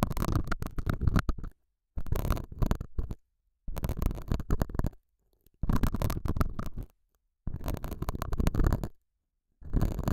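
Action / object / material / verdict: scrape / felt pad scratched by a metal hook / felt / none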